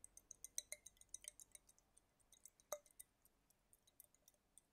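A small clear glass dropper bottle filled with green liquid is held up in one hand and tapped with fingertips and nails. The result is an irregular series of about nineteen quiet, bright clinks and ticks that stop almost instantly, with one sharper clink standing out partway through.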